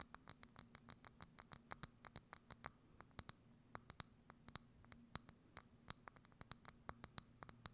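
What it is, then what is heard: Thin clear plastic dome tapped and scratched with nails. Long acrylic nails scratch and tap quickly on a hollow, thin, transparent plastic dome lid placed over a microphone. About 42 sharp, very short clicks sound in a rapid, uneven series, each with a bright, high plastic tick over a faint low hum.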